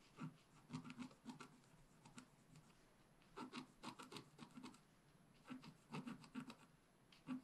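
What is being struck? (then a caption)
Wax-coated scratch art paper scratched with a wooden stylus. A wooden stylus tip scratches and hatches foliage along the bottom edge of a flat, black, wax-coated scratch paper page. Quick, dry rasping strokes come in three quiet bursts separated by brief pauses. Each stroke has a soft, gritty scrape with a low, papery body and faint bright edges.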